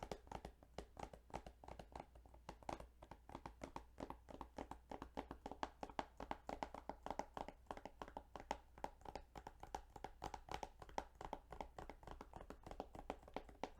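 Fingertips tap rapidly and continuously on the plastic case of the Yu-Gi-Oh! Duelist of the Roses video game. The sound is a quiet stream of short, dry, hollow clicks with a mid-range ring that dies almost at once, over a faint steady low hum.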